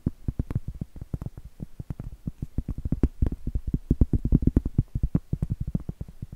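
Medium acrylic nails tap and scratch on a round, flat, solid cork trivet held upright. The result is a rapid, steady stream of dozens of soft, dull, low thuds with almost no ring and very little brightness, with faint scratchy texture between the hits.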